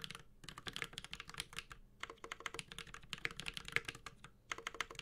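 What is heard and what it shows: Fingertips of both hands type on a Space65 Cybervoyager 65% mechanical keyboard with a white-gold metal case, Holy Panda switches and ABS plastic keycaps. Bursts of quick, bright, clacky keystrokes with very short decay are separated by brief pauses.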